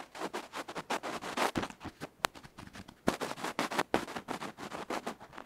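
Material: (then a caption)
Metal, felt. A bamboo ear pick scratches the felt face and edge of a tiny electret microphone capsule, a metal can with a felt cover, held between fingertips. It makes a rapid, uneven run of short, dry, bright scratching and scraping bursts with almost no low end. A sharp crisp click cuts through partway.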